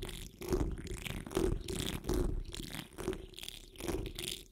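Long nails and fingertips of both hands scratch across the top of a hollow metal wire-mesh microphone grille. The result is an irregular run of heavy, rumbling scratches with a steady mid-low tone beneath them, plus faint bright hiss on some strokes.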